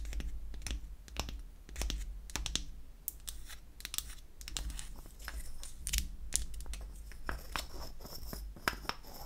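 A small, unfinished light wood cylinder shaped like a lipstick, with a seam at the cap, is held in the hand while long acrylic nails tap and scratch its surface. Quick, dry, bright clicks and scratchy rasps come in an irregular stream over a steady low rumble, each tap dying away almost instantly.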